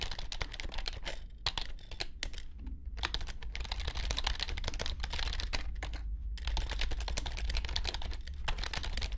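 A compact white plastic wireless keyboard with low chiclet keys and a hollow shell, resting on a grey felt mat, is typed on with the fingertips of both hands. Rapid, bright, short clicks run almost continuously over a steady low hum, with brief pauses near 1 s, 2.5 s and 6 s.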